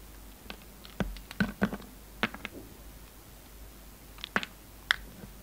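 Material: Soap.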